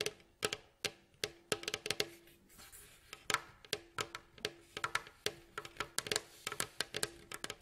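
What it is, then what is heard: Wooden mandolin bowl back. Both hands tap and scratch with fingertips and nails across the staves of a hollow, striped, varnished wooden mandolin bowl back. Dozens of short, dry, bright clicks come in quick irregular bursts, a soft hollow tone lingers faintly beneath some taps, and a brief stretch of scratchy rustling sits between them.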